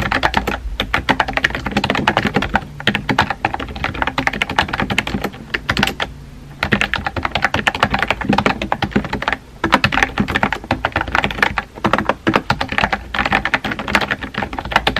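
Fingertips with painted nails type rapidly on a compact, hollow-bodied pink plastic mechanical keyboard with round white-and-pink typewriter-style keycaps, resting on a desk. Dense bursts of sharp, clacky key taps run almost continuously, broken by brief pauses.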